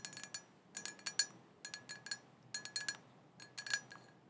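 Long painted fingernails tap and scratch all around the sides of a small, hollow, black glossy glass cauldron printed "Witches Broth," open with no lid and apparently empty. Quick bright clinks and ticks come in short clusters with a steady tone near 1.7 kHz, each dying away almost at once over a faint hiss.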